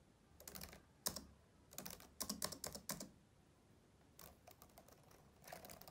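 Both hands type steadily with their fingertips across the keys of a black plastic laptop keyboard. Bright, clicky keystrokes come in short bursts separated by brief pauses, with quick taps that die away almost at once over a low, quiet background.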